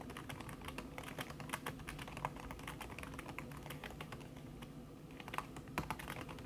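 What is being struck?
Laptop keyboard with silicone cover.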